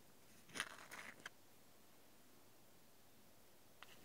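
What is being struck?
Wooden toy palette scraped with a wooden stick.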